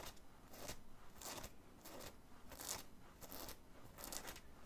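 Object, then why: Cotton t-shirt with printed graphic. Fingernails scratch the stiff printed graphic on the chest of a worn black cotton t-shirt in rapid strokes. The result is a quiet run of dry, raspy scratching bursts with bright, crackly edges, repeating at an uneven pace.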